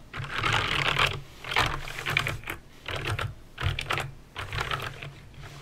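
Fingertips with painted nails press keys one at a time on a backlit plastic mechanical keyboard with clicky green switches. The result is a run of bright, crisp clicks centered around 2.4 kHz, arriving in short bursts with brief pauses between them. Each click carries a dull low thump beneath it and stops almost at once.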